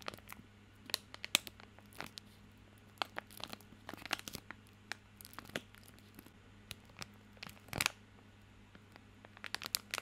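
A small bar of soap in a crinkly plastic film wrapper is held in both hands while fingertips scratch and crinkle the wrapper. The result is a quiet, scattered series of quick, bright crackles and scratches, with a denser crunch near the eight-second mark, over a faint, steady low hum.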